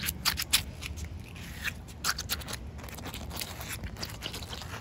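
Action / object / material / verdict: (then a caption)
scrape / wet concrete pavement slab scratched and tapped with fingernails / concrete / none. Short white nails scratch and tap on a solid, wet outdoor concrete pavement. Dry, crisp scrapes and quick, irregular taps die away almost instantly over a low, steady rumble.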